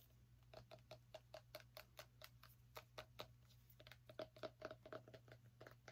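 Fingernails tap and scratch on a small orange pumpkin, making about two dozen quick, dry taps with a short hollow knock around 630 Hz and faint scratchy noise between them. A steady low hum runs underneath throughout.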